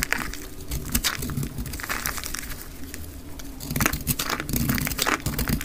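A metal utility blade cuts through a solid, round, pink crumbly soap puck held in the hand, breaking it into chunks. Dense, dry crackling and crunching bursts with bright scraping edges sit over a steady low rumble, louder in the final seconds.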